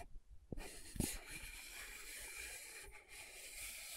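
Long nails tap and scratch across the dark glossy lid and rim of a small, round plastic loose powder jar with a pink base, held in one hand. Two quick taps sound first, followed by a steady, bright, hissing scratch that continues to the end.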